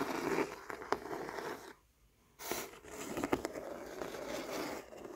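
Fingers and nails rub and scratch across the canvas weave of a stretched canvas painting with thick, glossy acrylic petals. The result is a dense, dry, crackly scraping texture with a few sharp clicks. It breaks off into near-silence for about half a second before the scratching resumes.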